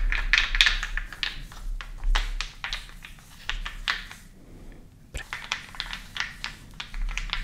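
Several medium, solid, unfinished wooden balls are held in both hands over a wooden bowl and rubbed and rolled together with the fingertips. They make irregular, bright, dry clicks and knocks that die away almost at once, with a brief quieter pause partway through, over a faint low hum.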